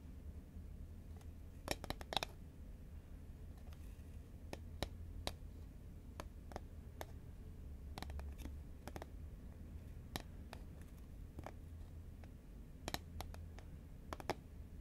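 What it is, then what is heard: Cardboard chip tube tapped with fingernails. Long fingernails tap a hollow green Pringles paperboard chip tube held horizontally, making short, dry, bright clicks that stop almost instantly. The taps come in irregular bursts, some in quick clusters, over a steady low background hum.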